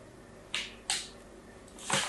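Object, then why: Soap bar scratched with a thin blade. A thin blade scratches a crosshatch pattern into the corner of a solid pink soap bar held in the hand. Three separate bright, crisp scraping strokes are heard, each a short hissy rasp that fades quickly, with the last one longer and louder.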